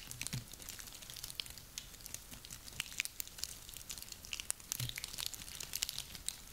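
A handful of small, dry, woody pine cones is squeezed and rubbed between both hands, producing steady crunching and crackling. The sound is dense and bright, with many short, sharp crackles that die away instantly, and a few soft low thumps as the cones shift in the hands.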